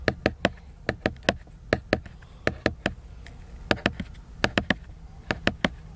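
Fingertips tap the glossy laminated paper cover of a large picture book in about twenty short, dry knocks, mostly in quick clusters of two or three with brief pauses between. Each tap is crisp and clicky with a bright edge and almost no ring, over a faint low background hum.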